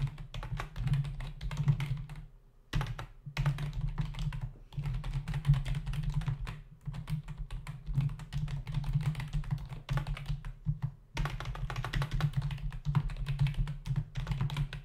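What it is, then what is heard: Plastic computer keyboard. Fingertips type on a black plastic membrane computer keyboard with a hollow body and plastic keys, resting on a desk. Rapid, muffled, thuddy key presses come in bursts, separated by brief pauses. The sound is dominated by low body resonance, with only faint clicky highs.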